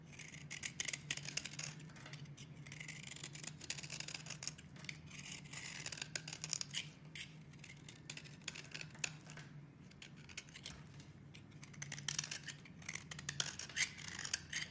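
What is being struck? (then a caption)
Bar of soap. A box cutter blade shaves and scrapes along the edges of a solid pink soap bar held in the hand, knocking off crumbly soap flakes. The sound is a dense run of quick, bright, crisp scraping strokes with no ring, over a faint steady low hum.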